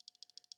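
A Kizer Invictus folding knife designed by Dam Designs, with a Micarta handle, is shaken back and forth, and its loose stop pin rattles. The result is a rapid series of short, sharp, high-pitched clicks, a minor flaw noticed right away.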